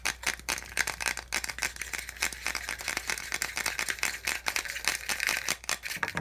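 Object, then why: Thin molded plastic packaging insert. Fingernails and fingertips rapidly tap and scratch the ridged slots of a small, white, hollow molded-plastic handset box insert held in the hand. The result is a fast stream of dry, bright, clicky taps and rattly scrapes with a hollow plastic tone near 1.5–2 kHz. Each hit dies away almost instantly, with very little low end.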